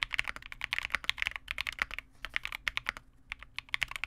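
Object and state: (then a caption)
Plastic mechanical keyboard. Continuous two-handed fingertip typing on a Vega65 custom 65% mechanical keyboard with re-lubed Cobalt switches, white plastic keycaps and a dark case. It makes a rapid stream of short, crisp clacks centered around 2 kHz, each dying away almost instantly, with very little low end.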